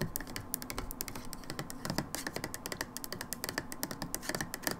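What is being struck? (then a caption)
Plastic bottle. Long nails tap rapidly on the label and ribbed edge of a brown plastic hydrogen peroxide bottle. The result is a steady stream of short, crisp clicks with bright high-end snap and a low hollow body, each dying away almost instantly.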